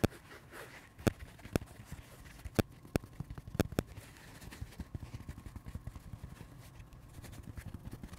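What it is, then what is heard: Porous foam sponge scratched and rubbed. Fingertips and nails scratch and rub the surface of a dry, pink, porous foam sponge held in the hands. Sharp, dry clicks with no ring stand out over a soft, low rustling, then give way to a steady stream of quick, faint scratches.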